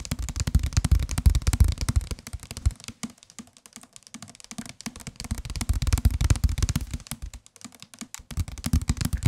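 A white and green softcover paperback book, solid, is held in the hands and tapped rapidly on its cover with the fingertips. The result is dense bursts of short, dull, low thumping taps that quickly fade, with quieter, sparser patches in between.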